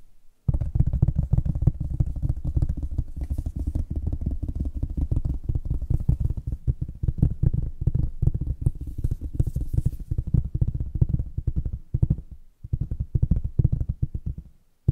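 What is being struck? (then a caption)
Flat cardboard box lid. Long nails and fingertips tap rapidly across the printed top of a large, flat, hollow cardboard box lid for a mechanical keyboard kit. The taps form a dense stream of short, dull, hollow thuds, with nearly all of the sound low and booming around a low pitch and no ring after each hit. The tapping runs almost continuously, with a brief pause near the end before it resumes and then stops.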